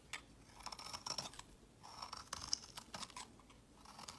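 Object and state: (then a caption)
Bar soap being shaved with a blade. A metal box-cutter blade scrapes and shaves curls off the edge of a round, solid, palm-sized purple bar of soap held in the fingers. The clip is a quiet series of crisp, bright scraping and crackling strokes with a faint high whine, little low end and almost no ring after each stroke.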